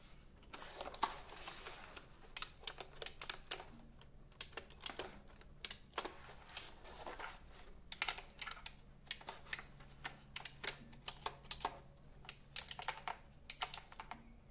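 Fingertips type on the round plastic keycaps of a retro typewriter-style computer keyboard held horizontally between the microphones. Dozens of quick, bright plastic clicks come in uneven bursts with brief pauses, each dying away almost instantly. Underneath sits a faint, steady low hum.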